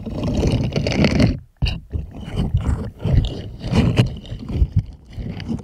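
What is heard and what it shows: Plastic puppet hands rub and scratch over the bristles of a purple silicone scrubber glove, making a dense, low, rumbling scrubbing sound. The rubbing stops briefly around the middle with a sharp click, then resumes in uneven bursts of scratchy friction.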